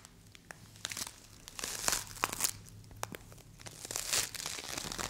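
A small solid green play foam ball made of polystyrene beads is squeezed, twisted and partly torn by both hands with long acrylic nails. It produces dense, bright, crunchy crackling with sharp snaps, swelling into louder bursts near the middle and again toward the end.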